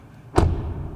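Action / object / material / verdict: strike / car door closing / steel / solid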